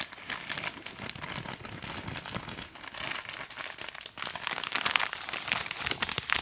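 A hand-sized bag of soft printed plastic packaging, full of organic cotton pads, is held in both hands and squeezed and crinkled with the fingertips. It makes a steady, dense run of bright, crisp crinkles and crackles with very little low end. The crinkles grow sharper and louder toward the end.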